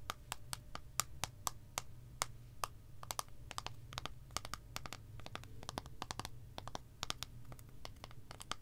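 Long acrylic nail tips tap on the squares of a solid, segmented milk chocolate bar with a broken edge, held flat in one hand. The result is a quick, irregular series of sharp, dry clicks with a bright tick near 1.2 kHz, each dying out almost instantly over a steady low hum.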